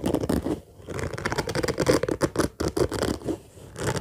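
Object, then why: Fabric-covered suitcase. Fingertips and nails scratch and rub fast across the top of a hollow orange fabric zippered suitcase lying flat, making a dense, rough scratching texture. The bursts come in quick uneven strokes with a midrange body and brief pauses, fading near the end before picking up again.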